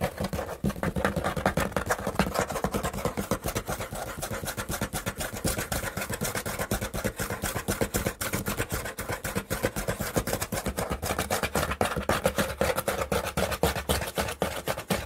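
Fingers scratch and rub along the torn top edge of a corrugated cardboard box, where the fluted inner layer is exposed. The result is a dense, fast, irregular run of dry scraping strokes with short, crisp clicks and little ring. The strokes spread across a wide range from low thumps to a bright upper hiss.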